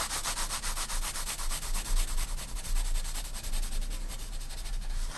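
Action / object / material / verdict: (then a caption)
scrape / graphite pencil on a paper sketchbook page / paper / none. A graphite pencil cross-hatches on the right side of a spiral-bound paper sketchbook page, making quick, repeated scratchy rubbing strokes with a bright, papery hiss. The strokes come in a fast, uneven rhythm over a steady low hum.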